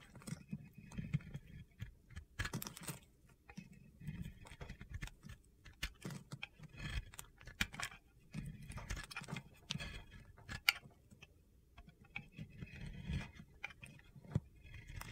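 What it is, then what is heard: Bar soap shaved with a blade. A round, solid white Oscar de la Renta soap bar is held by fingertips while a metal utility blade shaves off curls in a scraping motion. Quiet, crunchy, gritty scrapes come in short repeated bursts, with a low rasp under bright crackling edges. Each cut stops sharply with almost no ring.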